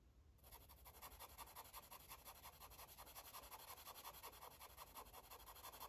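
A green felt-tip marker rubs and scribbles back and forth on a paper coloring book page. After a brief quiet start, a steady run of quick, soft scratchy strokes follows at a fairly even pace, each carrying a papery hiss with a bright edge.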